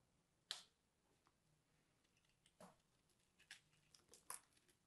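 A small blade scratches and cuts into the surface of a dry, solid, crumbly purple soap ball, about golf-ball size and coated in starch, held in the hand until the ball breaks apart. Five quiet, dry, bright crunching clicks stand out, each dying away almost instantly, with faint scratchy ticks between them and almost no low end.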